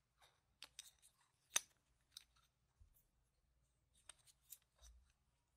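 A few yellow-rimmed solid plastic game tokens are held in one hand and riffled and clicked between the fingers and nails. Sharp, bright chip-on-chip clicks come in short bursts separated by brief pauses, each dying away almost instantly at a quiet level.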